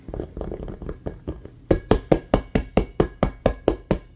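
Fingernails and fingertips tap and scratch quickly on an inflated, hollow, patterned rubber basketball resting below the camera. A soft, busy patter of taps and scratches gives way to a steady run of sharper, louder hollow knocks with bright nail clicks, each dying away almost instantly.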